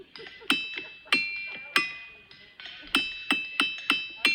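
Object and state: Ringing boulder (ringing rock).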